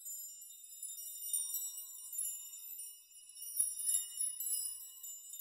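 Hands grasp and rock clusters of long steel nails hanging from a steel nail chime so they clink together. A quiet, continuous shimmer of high, bright metallic tinkles and sustained ringing tones swells and fades, with no low end.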